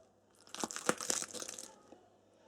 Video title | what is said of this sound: SOS Papa Cuisto - Le pain du confinement | écoutez ça ça craque